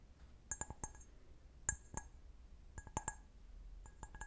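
A clear, empty, medium-sized stemmed wine glass is held sideways while fingernails tap its foot. About ten short, bright clinks come in small, irregular clusters, each with a high ring that dies away almost at once.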